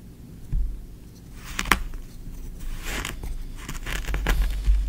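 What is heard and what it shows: A small wooden spoon digs into and scrapes green kinetic sand in a tray. Soft crumbling, gritty scrapes rise and fade over a low rumble. Several sharp crackling ticks stand out along the way.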